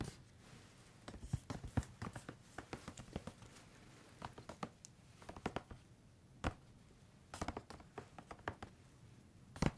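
Fingertips and nails tap and scratch a hand-sized grey plastic squeeze tube of Tesori d'Oriente shower cream that appears filled. Dozens of short, dry taps and scratches come in uneven clusters with brief pauses, each with a soft low thud and a quick bright click that dies away almost at once. The background stays quiet between them.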